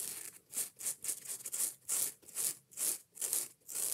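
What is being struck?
Foam kitchen sponge.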